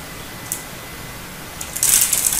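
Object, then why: Hard soap bar. A snap-off utility knife blade scores and scrapes a turquoise solid hard soap bar held in both hands, flaking off small chips. After near silence with a single faint, bright scratch, the scraping builds into dense, crisp, high-pitched rasping that stays loud to the end.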